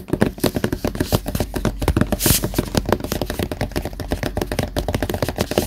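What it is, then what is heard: Hardcover notebook. Fingertips tap quickly on the black front cover of a closed, solid Death Note hardcover notebook lying flat on a desk mat. The result is a steady run of dull, short knocks with a low-heavy body and a brief breathy burst partway through.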